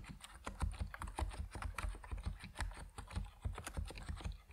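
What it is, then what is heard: Mechanical keyboard with PBT plastic keycaps. Fingertips of both hands type quickly on an Epomaker NiZ Plum Atom 68, a 68-key compact mechanical keyboard with white and purple PBT plastic keycaps, resting on a wooden desk. The result is a steady run of short, dull keystrokes with a deep, bassy body and very brief decay, plus faint bright clicks.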